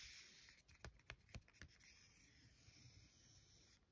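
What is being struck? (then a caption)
Paper card-stock greeting card. Long gold-tipped nails and fingertips trace and scratch across a thin, solid card-stock greeting card with a mouse-and-bee illustration, lying flat on a stack of cards. A soft, bright papery hiss runs throughout, broken by several sharper nail scratches and taps in the middle before settling back into steady light scratching.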